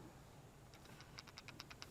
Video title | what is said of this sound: Fixing things on the 1994 Dodge Dakota, Round 1 | you can hear the little thing moving around in there